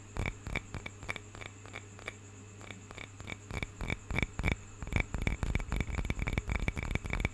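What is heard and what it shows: Fingertips and nails tap and scratch the surface of a small hollow carved wooden cup with a painted bird carving, held in both hands. The result is a quick, irregular run of short, dry clicks with a hollow, bright ring, sparse at first and then denser, over a steady low hum.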